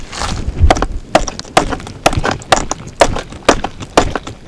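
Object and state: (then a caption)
Cracked flint block. A hammerstone taps repeatedly on a flint block, making about nine short, dull clicks at a steady pace with no ringing after each hit. The flawed block sounds dead rather than solid because it is full of cracks and lines.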